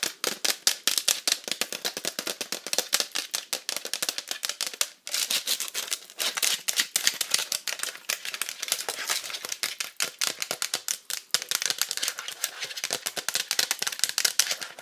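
Long nails tap rapidly on a hollow pink plastic iPad cover, around its octagonal camera hole and along its teal strip. The result is a fast, continuous stream of crisp, bright clicks with no low end and almost no ring. The tapping briefly pauses near the 5- and 11-second marks.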